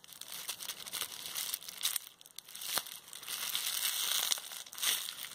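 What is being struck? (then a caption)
Plastic bubble wrap. A tightly rolled sheet of clear plastic bubble wrap is twisted and squeezed between both hands with painted nails. Dense, bright crinkling runs throughout, broken by sharp, dry pops as the bubbles burst, with almost no low end.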